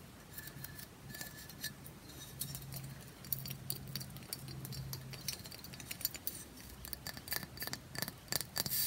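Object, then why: Pressed bath bomb brick. Long fingernails tap quickly and scratch across the grid-patterned top and side edge of a hand-sized, rectangular, solid pressed bath bomb brick held in one hand. The result is a rapid stream of sharp, bright clicks over a dry, scratchy hiss, with a faint low hum underneath.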